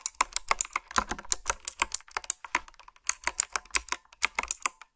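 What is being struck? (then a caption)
Plastic round-keycap mechanical keyboard. Fingertips and nails type on a retro typewriter-style keyboard with round black plastic keycaps and blue backlit switches. A rapid, uneven run of sharp, bright clicks fades almost instantly, with a brief lull near the middle before the typing resumes.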